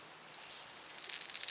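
A soft plastic swimming craw bait with a tube rattle pushed into its hollow head is shaken to make the rattle sound and attract fish. Faint, high, bright rattling clicks grow louder and more frequent in the second half, with no low end. The rattle is clearly heard inside the bait.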